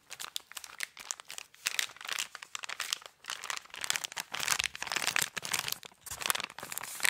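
Fingertips scratch and crinkle the Christmas wrapping paper on a small gift-wrapped cardboard box with a gold bow, held close to the mic. The result is a steady run of bright, dry crinkling and scratching bursts, mostly high-pitched, with no low rumble and almost no ring after each stroke.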